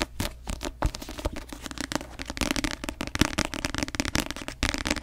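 Long nails tap and scratch quickly across the glossy paper cover of a paperback novel, a solid paper block, as it is tilted and then turned to show the back cover. The result is a dense run of short, dry clicks with bright scratchy texture and almost no ring.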